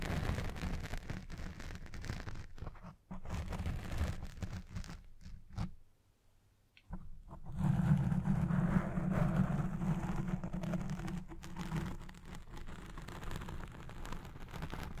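Fingertips with red-painted nails quickly scratch and tap a soft, domed black foam windscreen on a Blue Yeti Pro microphone. The sound is a dense, low, rumbling rustle with rapid muffled thumps. It stops briefly around six seconds, then returns louder and fuller.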